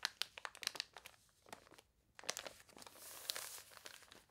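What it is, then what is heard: Water-warped paper catalog pages. Fingernails scratch the wavy, water-warped paper pages of a toy catalog and pages are turned, making sharp, bright crinkles and crunches with no low end. A brief near-silent pause falls around the two-second mark before more crisp scratching and a louder, steadier rustle as a page is turned.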